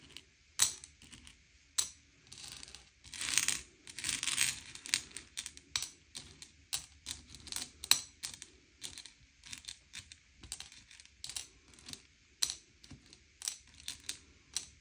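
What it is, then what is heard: Sugar-shelled chocolate candies being sorted on a plate. Fingertips slide and push a pile of small, hard, sugar-shelled M&M's candy-coated chocolates around a grey plate, sorting them by colour. Bright, quick clicks and clatters sound as the candies knock together, with longer hissing scrapes as they are swept across the plate. The sound is soft and almost entirely high-pitched, with very little low end.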